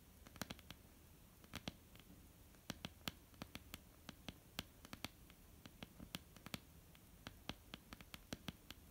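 Long almond-shaped painted nails tap and lightly scratch a flat, solid wooden tabletop. Quick, dry clicks land in an uneven rhythm over a soft, continuous scratchy rustle, each tap bright and sharp with almost no ring.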